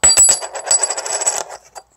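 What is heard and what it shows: A thin souvenir coin from a Civil War museum is dropped and bounces in a rapid series of bright clinks that settle into a fading rattle, with a high metallic ring. Though it feels and taps like plastic, the dropped sound shows it is metal, probably a lightweight metal such as aluminum, and it would not break when bent.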